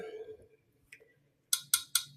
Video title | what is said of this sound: Variety Of Minis, Viking, Blenko, Rainbow, Pilgrim, Fenton | it sounds solid, but there is something in there